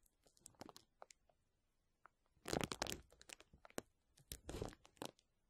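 Fingertips and nails of both hands scratch and rub across a clear plastic bubble wrap sheet lying flat. Quiet crinkles and sharp ticks give way to two louder bursts of dense, bright crackling scratching before fading back to scattered soft clicks.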